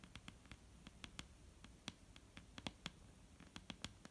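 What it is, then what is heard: Solid wooden table top. Long painted nails of both hands tap on a solid, dark brown wooden table top. Quick, irregular clicking taps with short bright transients and a slight low woody knock, each dying away almost instantly against a faint hiss.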